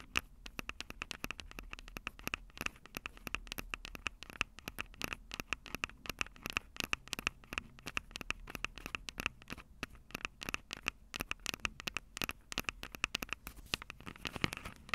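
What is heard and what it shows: Long acrylic nails rapidly tap and scratch the mic capsules of a Tascam DR-05 handheld recorder, which has a plastic body and metal mic grilles. The result is a dense, steady stream of dry, bright clicks and scratchy rasps with almost no ring, continuing for the whole clip over a faint low hum.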